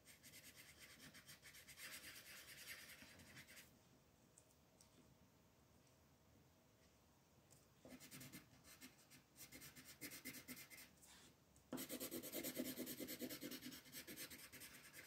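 A pink wooden colored pencil, held by a hand with long nails, rubs and shades the petals on a flat white paper coloring page. Bright, papery scratching comes in bursts of rapid strokes, falls to a quiet pause in the middle, then returns and grows loudest and fullest near the end.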